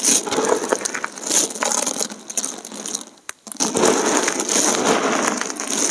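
Fingertips scratch, press and crush thin, multicolored dried soap plate shards on the surface of a pile of fragments. Dense, bright crackling and crunching runs throughout with almost no low end, dips to a brief near-silent pause with a single sharp snap just past the midpoint, then resumes at full intensity.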